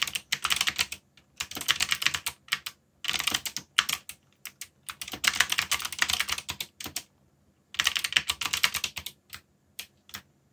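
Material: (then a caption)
Plastic. Fingertips type densely on a backlit mechanical keyboard with black plastic keycaps. The sound is bright, crisp clicking keystrokes in rapid bursts separated by short pauses. Each click stops almost instantly, with no ring.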